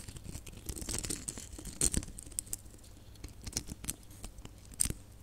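Long nails scratch and tap a cluster of small, hollow, red glitter plastic Christmas baubles with gold caps. The sound is quiet, bright, scratchy rustling broken by sharp, dry clicks and taps with no ring, plus a soft low rumble underneath.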